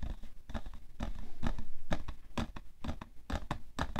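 The side of a hollow, printed cardboard tissue box full of tissues, resting on white fur, is tapped quickly with painted fingernails. It gives a rapid, slightly uneven run of short, dull taps with a low, hollow thump and crisp clicky edges that die away almost at once.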